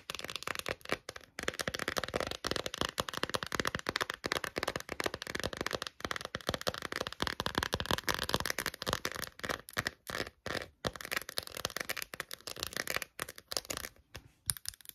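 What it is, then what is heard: Silicone phone case. Long nails tap quickly on an empty pink quilted silicone phone case held in both hands. The result is a dense, bright, crackly clatter of rapid, dry, short taps that thins into brief gaps toward the end.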